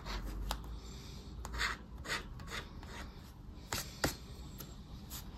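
A round, dark plastic disc scraper rubs and scratches across a flat, thin paper lottery scratch card lying on dark cloth, wearing off the latex coating and leaving visible shavings. Short, bright, raspy scraping strokes come in uneven bursts, with a few sharper clicks over a low background rumble.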